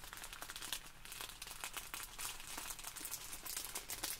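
Long pink nails and fingertips press, squeeze and scratch a small clear plastic bag filled with tiny white polystyrene foam beads lying flat on a wooden table. The beads shift inside, making quiet, bright, dense crinkling with rapid scratchy ticks. The crackle runs continuously through the clip without pausing.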